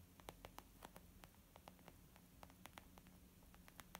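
Fingertips and nails of both hands tap quickly on a white textured leather zip pouch used as a makeup bag. About twenty short, bright, clicky taps land in an irregular patter, each dying away almost at once, over a quiet, steady low hum and soft hiss.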